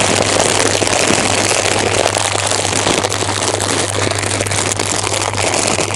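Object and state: Plastic snack bag.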